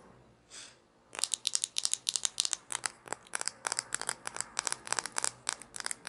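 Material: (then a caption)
Plastic. A small hollow plastic toy shaker bottle with an orange cap is held in both hands and scratched and tapped with long nails. After a quiet second with a faint soft swish, about two dozen quick, irregular, bright clicks and crinkly scratches follow, each dry and dying away at once with no ring.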